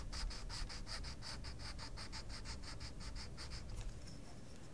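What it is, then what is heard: Coloured pencil scratching a paper colouring page. A wooden coloured pencil scratches quickly back and forth across a paper mandala page in a small paper colouring book. Each short, bright, papery stroke follows closely on the last in a steady rhythm. The scratching stops just before the end, leaving only a faint low background rumble.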